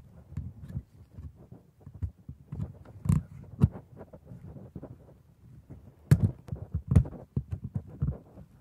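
A metal scaler held in a gloved hand scrapes between and along the white teeth of a solid plastic dental model. The result is a quiet, low, dry run of short scratchy ticks and rubs. A few sharper, brighter clicks stand out near the middle and later in the clip.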